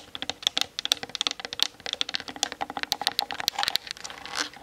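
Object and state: Plastic camera body.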